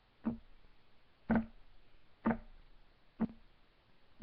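Fingertips of both hands tap rapidly on a solid, flat, light wood desk top. Five short, dull knocks with a low woody thump near 184 Hz land about once a second, each dying away almost at once over a faint hiss.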